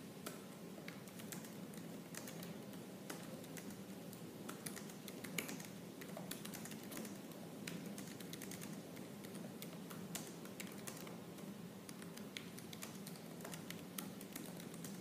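Fingertips with purple-painted nails type quickly and forcefully on the black plastic keys of a silver laptop. A dense, continuous patter of short, crisp clicks rides over a low, steady hum, with an occasional sharper, louder keystroke standing out.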